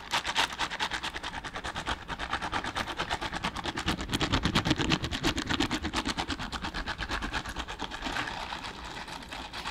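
Mint-green silicone bristle gloves worn on both hands are rubbed and pressed together, fingers brushing. The result is a rapid run of dry, bristly scratching strokes, about three per second, with a bright crackly texture. The strokes grow louder toward the middle before easing off.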